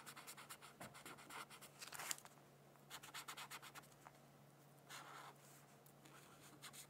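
A black-barrel brush-tip pen colors a thin paper coloring sheet resting on a hardcover textbook in slow, scratchy strokes. Bursts of bright, dry scratching come and go, with a steady low hum underneath and quiet gaps between strokes.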